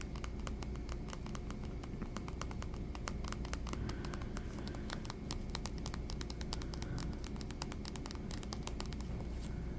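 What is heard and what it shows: A small, hollow, rectangular silver metal playing card tin printed with a king of hearts design is held in the fingers while the fingertips and nails tap on its lid and sides. Rapid, irregular light clicks and taps run throughout over a steady low hum.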